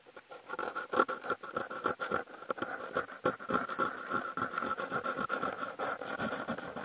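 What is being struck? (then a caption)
Corrugated cardboard sheet scratched with wooden toothpicks. Fingers hold wooden toothpicks and scratch the surface of a brown corrugated cardboard panel with a cut-out hole, picked up by contact mics clipped to its edge. Rapid, irregular scratching strokes come about three to four per second, each a short dry rasp with a narrow ringing tone near 1.4 kHz. There is almost no low end.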